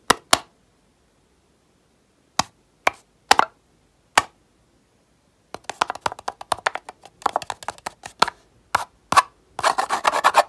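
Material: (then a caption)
Foil, plastic. Fingertips tap and rub the aluminium foil seal on top of a small round plastic jar of cotton pads held up close. Six separate dry, crinkly taps ring out over the first four seconds. Then a quick flurry of light taps and scratchy rubbing on the foil follows, ending in a short burst of bright, crackling friction.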